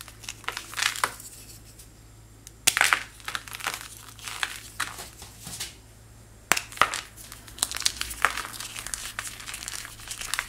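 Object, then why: Chalk-like powder block. A white chalk-like powder block is broken and crumbled between fingertips into small chunks and fine powder. Dry, bright crackling and crunching comes in clusters, with sharper snaps near 2.7 and 6.5 seconds and quiet pauses between, and almost no low end.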